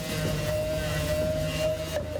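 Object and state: Nothing is struck.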